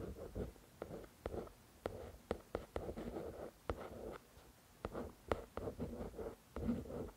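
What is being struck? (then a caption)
Paperback book with a glossy card cover. A fingertip and long nail trace across and tap the glossy card cover of a paperback novel. Soft, papery scratching swishes in the low-mid range are broken by about eleven short, crisp taps that each carry a faint bright click and die away almost at once. The sound is quiet and close, with brief pauses between strokes.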